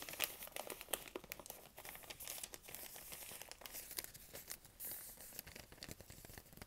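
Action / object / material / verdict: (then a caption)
scrape / thin printed paper sheet / paper / none. A thin, folded, printed paper sheet about postcard size is held in both hands while fingertips and long nails crinkle and scratch it. The result is a dense run of quiet, crisp crackles and rustles, mostly high-pitched with little low end.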